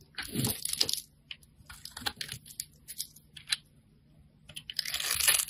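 A metal blade scrapes pre-cut cubes and shavings off a solid dark grey soap bar held in the hand. Bursts of bright, crisp crunching and tearing come at the start and end, with quieter short scrapes in between.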